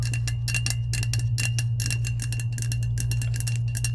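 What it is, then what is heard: Powder-coated stainless steel tumbler. Long acrylic nails tap rapidly on the sides of a hollow, hand-sized lavender tumbler made of insulated, powder-coated stainless steel, held upright. The bright metallic clicks ring near 2.7 kHz over a steady low hum.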